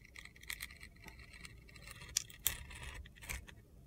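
A steel utility knife scrapes and slices curls off a handheld solid blue glitter soap bar that is partly carved down to white soap. The result is quiet, bright, gritty scraping with several short, crisp crunchy clicks that stand out, the loudest near the middle of the clip.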